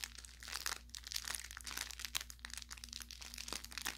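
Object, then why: Fabric plush toy with crinkly plastic filling. A soft-stuffed orange velour fabric carrot cat toy, about 25 cm, with crinkle filling, is squeezed and pressed by fingertips and thumbs along its seams. The result is a steady run of dry, bright crinkling and crackling with quick little pops. A faint low hum sits underneath.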